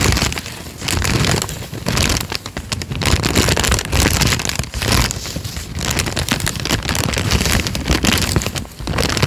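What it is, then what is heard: Crinkled paper sheet. A thin peach sheet of paper is held in both hands, flexed and crinkled, and torn slightly at its bottom edge with the fingertips. It makes a dense, continuous crackling and rustling with a full low body and bright, crisp crinkles on top. The sound stays steady, with brief dips as the handling pauses.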